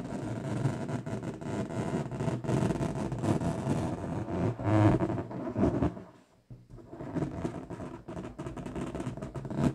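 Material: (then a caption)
Latex. An inflated bright pink latex balloon, hollow and air-filled, is rubbed and scratched across its surface by long pointed nails, making a squeaky sound. Dense rubbing and squeaking runs throughout, with a brief near-silent gap around the six-second mark before the scratching resumes.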